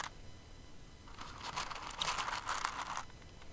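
Fingers with long nails dig into and stir a pile of plastic rhinestones in an open clear container. After a quiet start, a bright, crisp rustling clatter builds from about one second in, peaks between two and three seconds, then drops back to a faint hiss.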